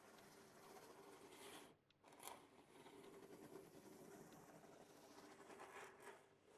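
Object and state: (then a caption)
Cardboard box being scratched. Fingertips and nails scratch and rub the top of a large, closed corrugated cardboard box printed with the RODE logo, lying flat on a table. A steady, dry, papery scraping with a bright hiss continues throughout, breaking briefly just before the two-second mark before resuming.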